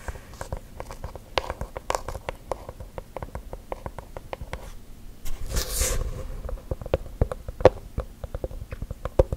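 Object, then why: Wooden object. A wooden object is tapped rapidly with gel nails, producing dense, short, dry clicks with little ring. Midway there is a brief, louder rustling burst before the quick tapping resumes.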